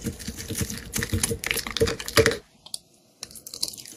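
A metal utility-knife blade shaves and scrapes thin curls from the surface of a solid, translucent, pale green, hand-sized bar of soap held in the hand. Dense, crisp scraping strokes with a bright, gritty edge run for about two and a half seconds, then stop in near silence apart from one short scrape. Quieter shaving resumes for the final second.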